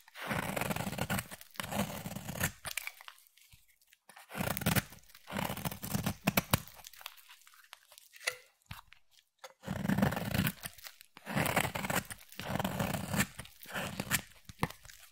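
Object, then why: Soap bar scraped with a knife blade. A utility knife blade scrapes flakes off the edge of a solid oval green bar of soap held in the hand, giving dry, crunchy tearing strokes. The scraping comes in several bursts separated by short pauses, with a full low body and a bright, crisp edge.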